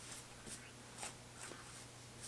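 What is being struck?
Nothing is struck.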